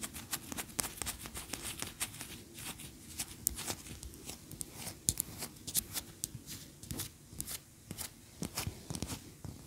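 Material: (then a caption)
Wax. A large, solid cream wax pillar candle standing upright is tapped and scratched with long nails. The result is a rapid, uneven run of short, bright clicks and taps that die away almost instantly, mixed with soft scratching over a steady low rumble.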